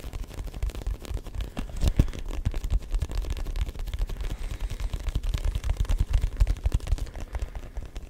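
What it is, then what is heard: Textured rubber ball. Fingertips tap quickly and steadily on a neon yellow-green hollow rubber ball with a grooved surface. The many taps come through as soft, dull, low thuds with very short ring, forming a continuous patter over the whole clip.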